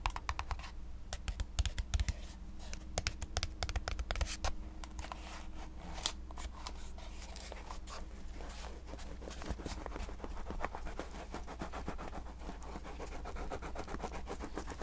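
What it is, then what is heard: Cardboard box. A small, hollow, white printed cardboard box is held in the hands and quickly tapped and scratched with fingertips and nails. The result is a rapid stream of dry, clicky taps mixed with papery scratching, each hit dying out almost instantly, over a steady low hum.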